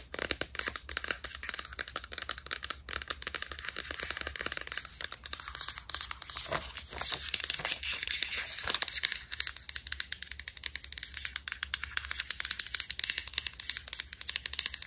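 Long nails scratch and tap along the paper label of a white plastic supplement bottle, making a dense stream of quick, bright, papery scratches and crisp ticks. The rapid strokes swell into louder crinkly scraping midway, then settle back to steady fast tapping over a faint low hum.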